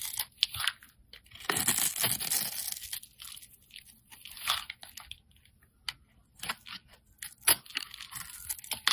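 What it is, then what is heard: Soap bar being carved. A solid, rounded green soap bar held in the hand is shaved and carved with a metal utility-knife blade. Bright, crunchy scraping and crisp cuts come in short bursts, with a longer continuous shaving stretch early on.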